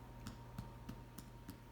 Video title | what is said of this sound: Caraway Rye Bread | If it's hollow, and I want that sound all over, it's ready to go.